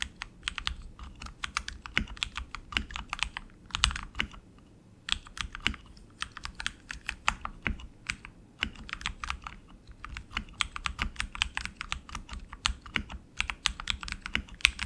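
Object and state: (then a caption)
Mechanical keyboard with plastic keycaps. Both hands type continuously with their fingertips on a tenkeyless RGB mechanical keyboard with tactile switches, plastic keycaps and an aluminum frame. Rapid, bright, sharp clicks and clacks run in steady bursts, with brief pauses around four and nine seconds. Each keystroke ends almost instantly, over a faint low thump from the keys bottoming out.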